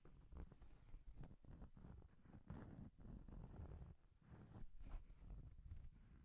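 A round, flat, solid cork coaster held in both hands close to the microphone is tapped and scratched with long painted nails. Soft, dull, low thuds with almost no ring mix with faint scratchy brushing, at a quiet, steady level throughout.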